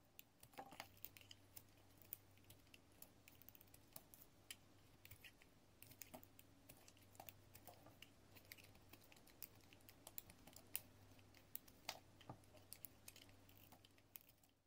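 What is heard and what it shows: A metal utility-knife blade repeatedly scrapes across the face of a solid pink soap bar held in the hand, shaving off flakes. Dozens of quiet, crisp, bright scratches and clicks come in quick succession with very little ring, over a steady low hum.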